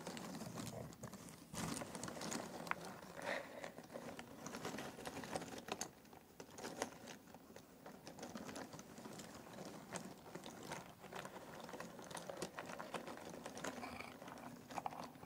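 Fingertips stir a pile of thin cardboard jigsaw puzzle pieces in an open box, making a steady stream of soft, dry clicks and rustling taps. The many short, crisp contacts overlap into a continuous shuffling patter with quick decay.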